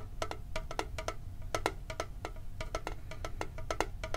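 Fingertips and nails tap quickly on a hollow, red-and-blue printed metal Pokemon card tin with a lid. The taps are short, bright metallic clicks with a hollow ring around 440 Hz that dies almost instantly. They come in an uneven, rapid rhythm over a steady low rumble.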